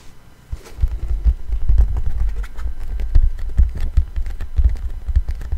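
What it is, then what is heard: Vinyl record. Fingertips with slightly long nails tap the grooved surface of a thin, solid black 12-inch vinyl LP with a paper label, held in both hands close to the mic. The soft, rapid taps land as deep, muffled thumps with very short decay, overlapping into a steady, low patter that starts quietly and then continues at an even level.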